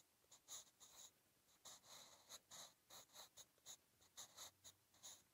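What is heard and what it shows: A wooden 8B graphite pencil, held in the fingertips, writes Korean script across a lined page of a spiral-bound B5 sketch notebook lying flat. Quiet, bright, dry scratching comes in twelve short strokes separated by brief pauses, each fading almost at once.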